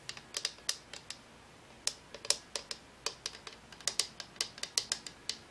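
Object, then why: Hollow plastic lamp shade. A hand-sized, hollow cylindrical Homecube LED lamp with a translucent frosted plastic shade and electronics inside, glowing orange then green, is held in one hand and tapped with the fingertips and long nails of the other. About 24 quick, bright, clicky taps come in an uneven rhythm with a short pause early on. Each tap dies away almost instantly and has almost no low end.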